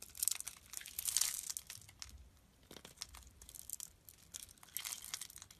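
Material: Soap.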